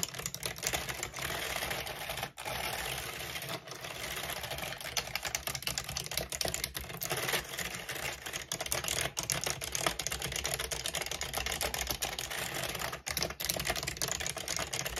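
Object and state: Plastic computer keyboard.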